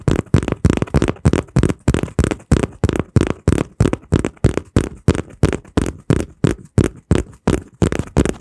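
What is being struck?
Small folded kraft cardboard piece.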